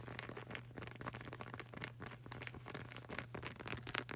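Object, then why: Rubber flip-flop sole. Long burgundy nails rapidly tap and scratch the dark grey, textured rubber sole of a flip-flop with a flag-print edge, solid yet flexible. The result is a dense, continuous stream of quick, dry clicks and bright scraping crackles with almost no ring, over a steady low hum.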